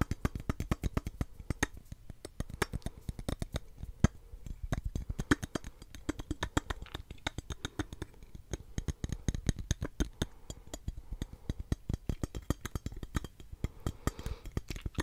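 A medium-sized, hollow porcelain jar shaped like a cupcake, with red cherries on the lid, is tapped close up with long nails and fingertips. The result is a rapid, steady stream of short, dry clicks and knocks with a low, hollow body and almost no ring.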